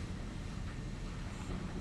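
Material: Nothing is struck.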